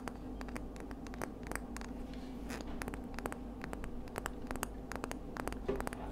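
Long nails tap and scratch the ribbed outer surface of a palm-sized, hollow, empty pink-white ridged scallop shell as it is turned in the hands. Quick, sharp clicks and light scraping run over a steady low hum. The taps are short and dry, with almost no ring.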